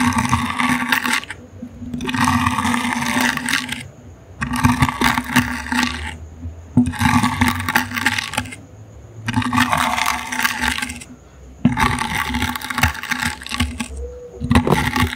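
A plastic toothbrush's bristles scratch and scrub the woven surface of a small, brown, hollow, likely empty wicker basket held in the hand. The result is a bright, crackly rasp in repeated bursts of roughly two seconds each, separated by short pauses, with a low hum underneath.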